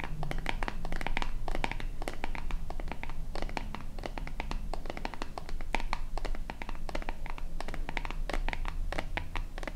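Long painted nails scratch and tap across the body and label of a small, hollow, white plastic lotion bottle with a purple pump top. A dense run of quick, crisp, bright scratches and ticks continues steadily over a constant low hum.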